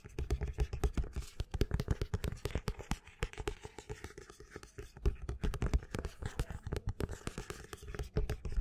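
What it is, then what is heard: Paperback book spine being scratched. A black paperback book with a paper and card spine is held upright while fingers and nails scratch along the spine and the cover near it. The result is a rapid, continuous run of short, dry scratching strokes with a soft, low-heavy thud to each and only faint brightness on top.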